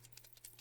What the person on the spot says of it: It has this little thing in it that you can hear rattle.